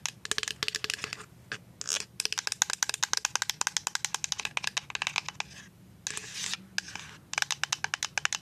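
A full white plastic liquid soap pump bottle is scratched and tapped with paper-clip nails. Rapid runs of sharp, bright clicks alternate with short bursts of raspy scratching, with almost no low end and no ring after each tap.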